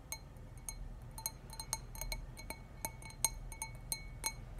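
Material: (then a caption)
Glass. A clear stemless glass wine tumbler, hollow and nearly empty with a little wine left, is held in both hands and tapped on its sides with fingernails. It gives a quick, irregular series of short, bright glassy clinks with high ringing tones that die away almost instantly. A soft low rumble sits underneath.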